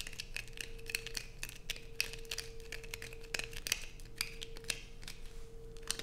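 Long nails scrape curls off the edge of a light-blue bar of soap, then scratch across its surface while it rests on black fabric. Quick, crisp, bright scratches and ticks come in a dense, uneven stream over a steady, faint low hum.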